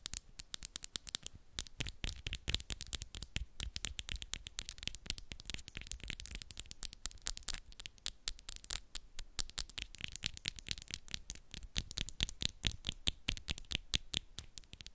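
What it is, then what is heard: Acrylic nails tapped and scratched together. Long, solid acrylic nails on one hand rapidly tap and scratch against the acrylic nails of the other hand. The result is a quiet, dense, irregular stream of sharp, bright clicks and scrapes that stop instantly, with a soft low thud beneath them.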